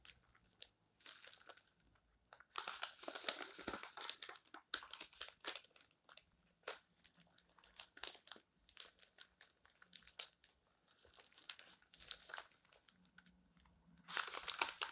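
Flat hands rub and smooth the thin coated pages of an open glossy colour magazine lying flat on a stack of magazines on a table, with page turns in between. Quiet, bright crinkling and rustling bursts come in bunches throughout, with short dry swishes and a denser flurry of papery rustle near the end.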